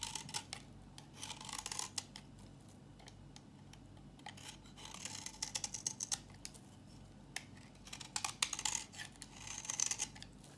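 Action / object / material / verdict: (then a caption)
scrape / bar of soap shaved with a metal blade / soap / none. A solid, dry yellow bar of soap held in the palm is shaved repeatedly with a metal box-cutter blade. The cuts come as quick, dry, bright scraping crackles in bursts, separated by quiet pauses, over a low steady background hum.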